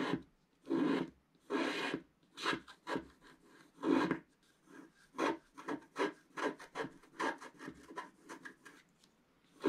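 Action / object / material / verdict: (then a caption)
scrape / wax-coated scratch-art paper sheet scratched with a wooden stylus / wax-coated paper / none. A wooden stylus scratches the black coating near the top right of a wax-coated scratch-art paper sheet lying on a table, while the other hand steadies the page. About twenty dry, raspy scraping strokes are heard, with a midrange body and a bright, hissy edge. The early strokes are longer and louder, and the later ones become shorter and quicker.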